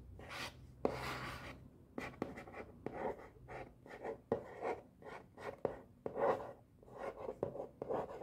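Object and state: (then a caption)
Cardboard box. A hand-sized, black and white printed cardboard box for a brush pen set, with pens inside, is held in one hand while the fingertips and nails of the other tap and scratch its front face. Sharp, dry taps land among soft, papery scratching strokes, with each tap dying away almost at once.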